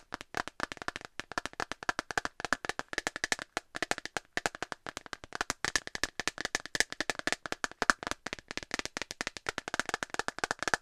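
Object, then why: Thin clear plastic phone case tapped with fingernails. An empty, thin, hollow transparent plastic phone case with a dark rim is held in the hand and tapped with long nails. About 84 quick, dry clicks with almost no ring run in a fast, uneven stream, with a bright plastic tone centred near 1.5 kHz and very little low end.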